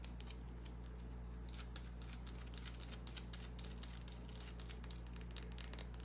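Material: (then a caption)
Soap. Long nails scratch the surface of a small, solid green bar of soap held in the hand. The result is a quiet, irregular run of crisp, bright scratching ticks over a steady low hum.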